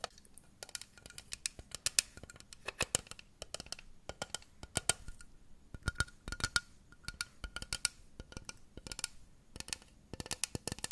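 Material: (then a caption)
Plastic. Long nails tap and scratch a small hollow pink plastic kettle-shaped jug with a handle, held close to the microphone. The result is a rapid, irregular run of dry, bright clicks and scratchy ticks that stop dead with no ring. A faint hollow plastic tone sits beneath them.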